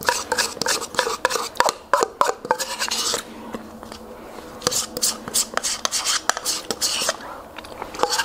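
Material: Plastic.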